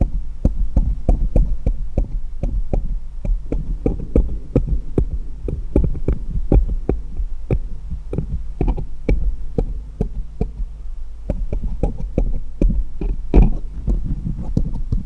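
Fingers hold one small solid steel jeweller's screwdriver and tap it against others in a pile, close to a microphone. Quick, short metallic ticks repeat throughout over a steady low hum near 59 Hz. Each tap dies away almost instantly.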